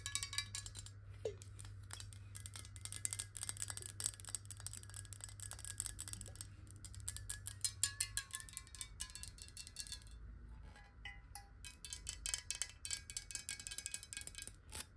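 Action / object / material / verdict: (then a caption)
tap / glass water bottle / glass / none. Fingernails tap rapidly on a glass water bottle partly filled with water, making a quick stream of bright, high clinks that ring only briefly. The tone shifts as the water moves inside the bottle, over a steady low hum that fades after about eight seconds.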